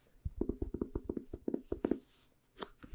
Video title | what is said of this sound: Soft-Spoken Affirmations ASMR - Tapping - Chimes - Candles - And A Whole Lot Of Love | this is a book covered in cloth full of blank pages